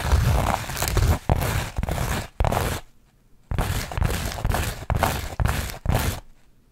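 Long nails scratch over the woven texture of a beige burlap or linen-covered panel held up close. They produce rough, crunchy scraping in stop-and-go bursts, with a near-silent pause around three seconds. The rasping is broadband with a heavy low-end rumble, and each burst cuts off abruptly.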